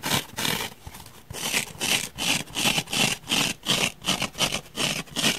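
Fingernails scratch into the surface of a palm-sized, solid, rectangular dark grey open-cell foam block held in one hand on a wooden table. A steady series of rough, bright scraping strokes repeats at nearly three per second, with a hissy emphasis around 2.7 kHz and brief quiet gaps between strokes.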